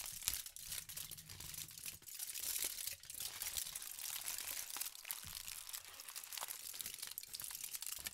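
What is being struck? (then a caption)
Thin aluminum foil sheet. A thin sheet of aluminum foil is crumpled and squeezed by fingertips with pink nails. The result is a steady stream of bright, crisp crinkling and crunching with quick crackles, little low end, and no pauses over the whole clip.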